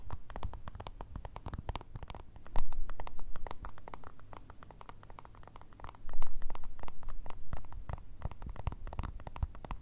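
Long red nails tap and scratch a small, round, white, hollow plastic remote control with buttons. Dense, rapid clicks and scrapes carry a low hollow thump, swelling into two louder bursts of tapping before settling back to quieter scratching.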